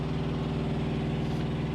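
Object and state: Nothing is struck.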